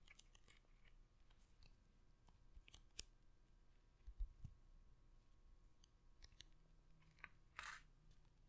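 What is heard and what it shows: Long red nails tap and scratch the embossed printed paper cover of a large hardcover book held beside the microphone. Scattered short, sharp clicks and dry scratches sit over a quiet, low background rumble, with a couple of duller thumps in the middle. Near the end comes a brief, bright scratching burst.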